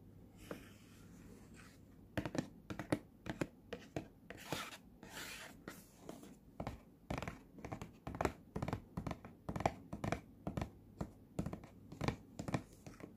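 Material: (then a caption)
Cardboard. Fingertips and nails scratch and tap the glossy front face of a small, hollow, printed cardboard retail box for Sennheiser earphones resting on a surface. Soft, dry scratching opens the clip, then a steady run of short, dull, papery taps with light rustling follows.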